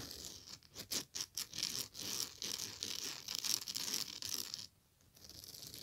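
Long nails scratch and rake across the surface of a large woven straw or raffia bag in striped colors lying flat. The result is dry, bright, hissy rasping strokes in quick uneven bursts, with a brief silence near the end before the scratching resumes.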